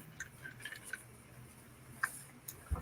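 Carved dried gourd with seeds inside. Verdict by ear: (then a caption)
Loose. A carved dried gourd made from natural material and decorated with carved scenes is shaken, giving a series of quiet, light, short ticks and rattles over a low background hum. These are the dried seeds rattling loose inside, showing the gourd is hollow and the seeds are still free.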